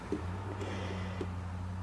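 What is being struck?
Nothing is struck.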